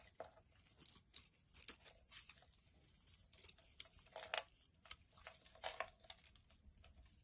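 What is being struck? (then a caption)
Bar of soap shaved with a knife blade. A utility knife blade carves shavings off a solid light green bar of soap held in the hand. The result is a quiet series of crisp, bright scraping and crackling strokes, with several louder cuts standing out among softer ones.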